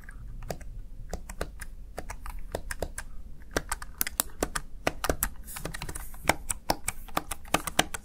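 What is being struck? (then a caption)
Plastic keypad. Fingertips with short nails tap and press the keys of a small black plastic backlit Razer Tartarus Chroma gaming keypad. A steady, irregular run of short, crisp plastic clicks rings out with bright highs and almost no decay, over a faint low background rumble.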